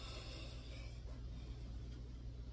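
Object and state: Nothing is struck.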